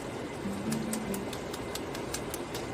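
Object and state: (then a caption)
Crispy double-fried chicken wings. Chicken wings that were fried twice are knocked together before being sauced, giving a series of sharp, dry clicks and crunches over a steady low background hum. The crisp, hard sound shows the wings are very crispy.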